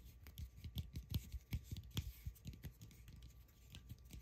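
Long acrylic nails tap and scratch the rough surface of a palm-sized solid cork ball. Soft, dull low taps with brief bright clicks come in an irregular, quiet patter, each dying away almost at once, with faint scratchy texture in between.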